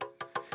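Four quick taps on the body of a Soundcore Motion X600 Bluetooth speaker, whose casing appears to be all metal rather than the hard plastic of earlier Motion models. Each tap gives a bright, short ringing knock centered around 1 kHz that fades quickly.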